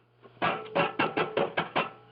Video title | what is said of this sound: Old Friends AM Net 160 Meters 8 PM 1/2/24 | just those screws, those long screws, they rattle